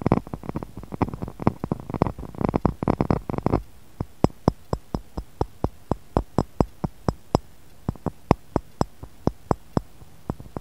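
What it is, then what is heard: Pressed glass cup and saucer. Fingernails tap the rim of an empty, clear, textured pressed-glass cup sitting in a glass saucer, and the edge of the saucer. For the first few seconds the taps come quickly in dense, fuller-sounding clusters. After that they become sparse, evenly spaced, bright clicks with almost no ring.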